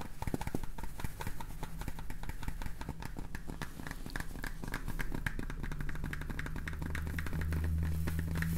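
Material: Plastic.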